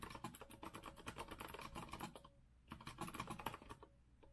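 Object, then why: Mechanical keyboard with metal frame and round plastic keycaps. Both hands type with their fingertips on a rose-gold retro Azio mechanical keyboard with a metal frame and round plastic keycaps. Rapid, crisp clacking keystrokes come in two quick bursts separated by a brief pause, each key sound short and dry with a bright edge.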